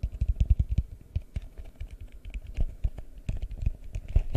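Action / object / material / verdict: tap / empty plastic bowl / plastic / none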